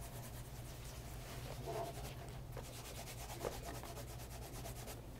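Cloth-wrapped fingers rub along the heel and side of the upper of a pebble grain leather loafer lying on its side on a leather mat. The result is a quiet, continuous soft scuffing and rubbing, with rhythmic strokes over a steady low hum and one slightly louder swipe near the middle.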